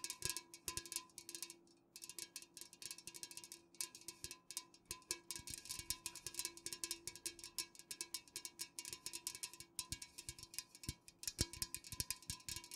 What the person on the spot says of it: This video consists of fast-ish nail tapping on unopened cans, with a bit of sizzling sounds in the end.